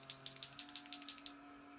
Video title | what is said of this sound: Tuto: Maquillage avec la star du mois (un rouges à lèvres ;) ) | je le secoue, vous entendez la petite bille?